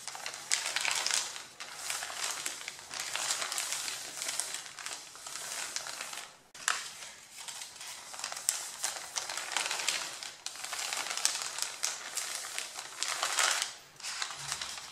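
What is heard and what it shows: Fingertips quickly tap and scratch with the nails across the top sheet of a stack of thin white printer paper printed with vase drawings, then rub it flat. The result is a bright, dry crinkling and scratching that comes in dense bursts with brief quiet gaps between them, with almost no low end.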